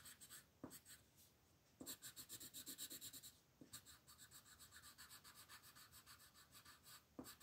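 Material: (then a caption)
Paper. A green wooden colored pencil rubs and scratches over a thin printed paper coloring book page lying flat, coloring in leaves while a long-nailed hand rests on the page. Quiet, bright, papery scratching comes in quick back-and-forth strokes, about four per second, in bursts separated by brief pauses. A few sharper taps mark where new runs of strokes begin.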